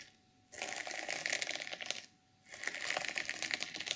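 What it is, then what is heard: Sequin fabric cover scratched with nails. Long nails scratch the sequins at the top of a flat, reversible sequin fabric journal cover. The result is two bursts of bright, crisp, rapid rasping and clicking, separated by a short quiet pause.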